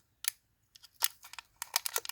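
A pressed brass Buddha amulet from the 2550 issue, with a plugged base, is shaken so its loose contents rattle inside. The result is a series of short, bright, dry clicks that grow denser toward the end, with almost no low end and no ring. The rattle shows the base is genuinely plugged with loose contents.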